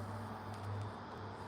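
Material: Nothing is struck.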